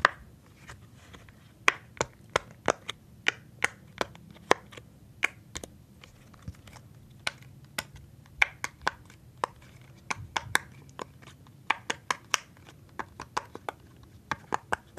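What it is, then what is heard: Silicone pop-it fidget toy. A rainbow silicone pop-it fidget toy shaped like an Among Us character, with hollow bubbles, is held in the palm while fingertips press and pop the bubbles repeatedly. About 34 short, dry, snappy pops ring out at an uneven pace, each a crisp bright click that dies away almost instantly over a faint soft background.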